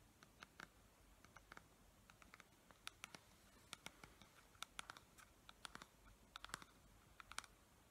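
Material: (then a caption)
Plastic. Long nails tap and scratch the paper label and sides of a clear plastic pump dispenser bottle with liquid inside. About thirty quiet, sharp, bright clicks and scrapes sound in irregular bursts, each dying away almost instantly over a faint steady hiss.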